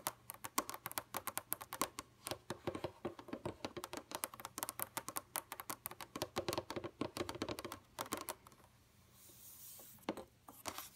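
Long, pointed red nails on both hands tap quickly on a flat, dark computer monitor screen. They make a rapid stream of crisp, short, clicky taps that stop briefly near the end for a soft, high hiss, then a few final taps.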